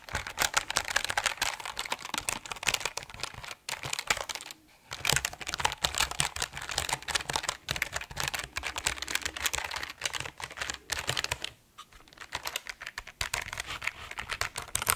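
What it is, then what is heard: Mechanical keyboard with plastic keycaps on an aluminium plate. An RGB mechanical keyboard with plastic keycaps on an aluminum plate, held slightly angled, is pressed and tapped by fingertips. Rapid, bright, clacky keystrokes come in dense bursts with very short decays and brief pauses. There is little low-end weight.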